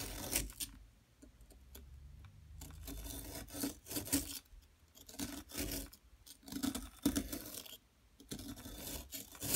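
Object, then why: Plaster block scraped with a metal tool. A metal tool scrapes and chips at a solid yellow, bar-shaped plaster excavation block. Bursts of dry, gritty rasping and crisp chipping clicks come and go, separated by brief quiet pauses, with a faint mid tone beneath the bright scratchy noise.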